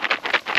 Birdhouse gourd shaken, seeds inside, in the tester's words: this one is a little bit more dry sounding